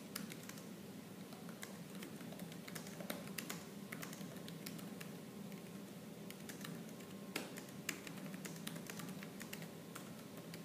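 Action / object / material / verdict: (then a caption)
tap / plastic laptop keyboard keys / plastic / none. Both hands type fast on a laptop keyboard with black plastic keys, striking with fingertips and nails. A dense, continuous stream of quick, dry clacks, with a few sharper, louder taps, runs over a soft low background hum and a faint steady tone.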